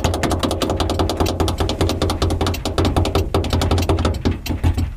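Fingertips and nails rapidly tap, scratch and press around the edges and housing of a small, lit, hollow, translucent plastic dome light cover on a car's interior ceiling. The result is a dense, continuous run of hollow, low plasticky knocks with bright clicky ticks and brief scratchy rasps, each tap dying away quickly.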